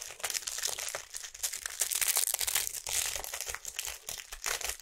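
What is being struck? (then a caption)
Small cardboard box. A small, hollow printed cardboard box of fruit bars is held in both hands and tapped and scratched with long acrylic nails. The result is a steady stream of quick, dry, bright crinkly clicks and scrapes that stay mostly high with almost no low end. Each sound dies away almost at once.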